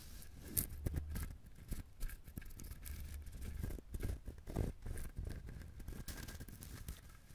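A whole coconut with a hard, fibrous shell is held close to a microphone while fingernails scratch and tap it. Dry, quiet scratching runs throughout, broken by many short, low, knocking taps that stop almost at once.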